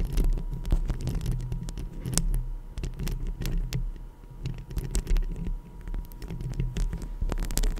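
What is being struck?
Metal mesh microphone grille.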